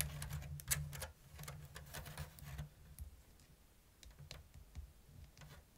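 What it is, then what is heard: Woven bamboo basket tapped with fingernails. Long blue nails tap the thin strips of a round, hollow bamboo basket woven in an open diamond lattice. They make light, irregular clicking taps with bright, dry transients that die away almost at once, over a steady low hum. The taps are denser and louder at first, then thin out into sparser, quieter clicks.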